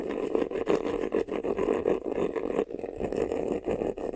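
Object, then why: Croc-textured faux leather vanity case. Fingernails scratch quickly across the front and sides of a medium, hollow black vanity case covered in croc-embossed faux leather. The result is a continuous, dense, raspy scratching with a steady hollow tone in the mids, rising and falling in quick strokes with brief dips between passes.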